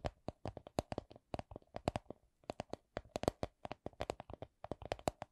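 A small, hollow, soft coin purse of clear vinyl/PVC printed with a Miffy design is tapped with long nails. About 35 quick, dry clicking taps come in slow and medium runs, each with a hollow tone near 600 Hz and a bright, crisp edge that dies away almost at once.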